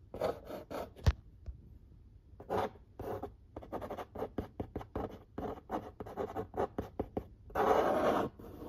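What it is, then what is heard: Cardboard pizza box. A fingernail quickly scratches and traces the printed lines on the lid of a large, flat corrugated cardboard pizza box. Short, dry, papery scratches come in bursts with brief pauses, and one sharp tap stands out early. The clip ends with a longer, louder rubbing scrape across the cardboard.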